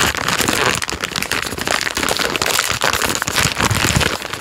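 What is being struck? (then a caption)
Plastic film biscuit packet. A full plastic-film biscuit packet is turned front and back while a thumb and fingertips rub, squeeze and scratch the wrapper. The result is a steady, bright crinkling and rustling that fills the whole clip, with dense crackles and no clear pauses.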